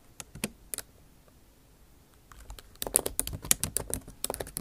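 Long acrylic nail tips type on the bare plastic keys of a MacBook Pro backlit keyboard set in an aluminum body. A few sharp, bright clicking taps open the clip, then a quiet pause, then a faster, irregular burst of crisp key taps with almost no ring.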